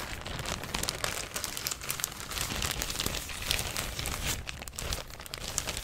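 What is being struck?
Thin plastic shopping bag.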